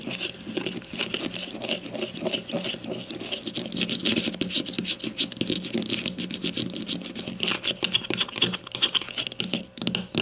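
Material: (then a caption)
Plastic. Long nails tap and scratch rapidly on the hollow casing of a grey plastic deodorant stick lying flat. The result is a dense, continuous patter of short, bright clicks and scrapes with almost no ring and little low end.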